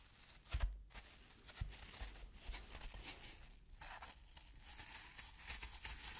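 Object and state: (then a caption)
Floral foam scraped with a fork. A metal fork's tines are scratched and scraped across the side of a large, round, dry green floral foam cylinder, a solid and porous block held in one hand, leaving grooves. The result is a quiet, continuous bright crumbly rasping with crinkling texture, broken by a few soft low thumps.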